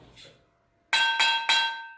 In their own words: 用刀敲一下听声音生铁锅的声音比较松散